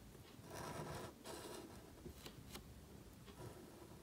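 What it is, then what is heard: Paper card scratched by a marker. A calligraphy marker nib scratches strokes across a thin, solid, flat sheet of black cardstock held flat. Soft, dry scraping swishes build and fade over the first two seconds, followed by a few faint ticks and lighter strokes, all at a quiet level.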